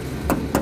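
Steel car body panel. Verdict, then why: No filler. Two knocks on the bare steel body panel of a Daihatsu Feroza (1994–1996 model), with an engine idling beneath them. Each knock gives a short, hollow, mid-pitched tap that fades quickly. The panel has no body filler at all, and the whole body is rated excellent.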